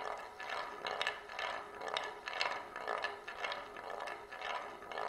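A single glass marble rolls in circles around the rim groove of a shallow oval wooden plate held in both hands. It makes a continuous bright rolling rumble that swells and fades about twice per second as it circles. Faint clicks and rattles come through as it goes around.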